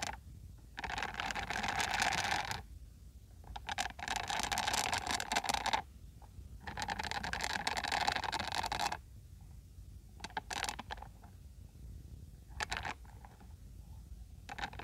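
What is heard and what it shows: A peach silicone-bristle scalp massager brush is scratched and brushed with nails and fingers up close. Long bursts of dry, bright, broadband scratching run from about 1 to 2.5 s, 3.5 to 6 s and 6.5 to 9 s. They are followed by quieter, sparser scratches and a few short flicks toward the end.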